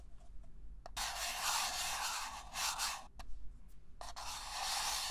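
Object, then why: Disposable paper cup. Fingertips and nails tap and scratch the wall and base of a small, hollow, empty red-and-white disposable paper cup held in the hands. Bright, dry rasping scrapes swell and fade, broken by a few quick, sharp taps with almost no ring.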